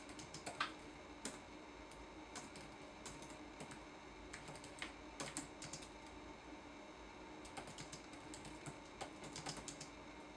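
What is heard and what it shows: Fingertips type on a red-backlit laptop keyboard with plastic keycaps, making quiet, irregular, light clicky taps with bright, crisp tops that die away almost at once. A faint steady hum sits underneath the taps throughout.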